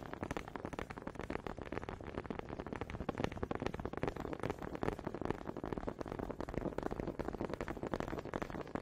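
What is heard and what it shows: Wooden honey dippers are tapped quietly and rapidly in a dense, steady stream of short, dry clicks with almost no ring. The sound sits mostly in the low and middle range, with very little high content.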